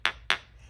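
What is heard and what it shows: A full-size e.l.f. Juicy Pink Gel Drops serum bottle, a jar-like container, is tapped twice on a tile floor. Two sharp, bright clicks with a clear mid-high ring decay quickly, sounding solid.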